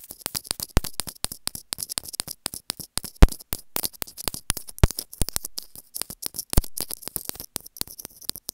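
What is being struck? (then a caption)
Plastic earphone inline microphone. Long fingernails continuously scratch and tap the casing of a small white plastic inline earphone microphone held in the fingers on its cable. The result is a rapid, irregular stream of dry clicks, taps and scratchy rasps, each dying away almost instantly. Occasional louder knocks stand out against a bright, crackly texture with low thumpy bumps underneath.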